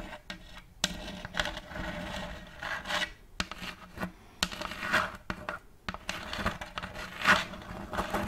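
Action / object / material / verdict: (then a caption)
scrape / end-grain wooden tray / wood / none. Long fake nails scratch and rub across the block surface of a large, round end-grain wooden tray with a checkerboard block pattern and a raised rim, held upright. Dry, rasping scrapes come in uneven bursts with a few sharp clicks between them.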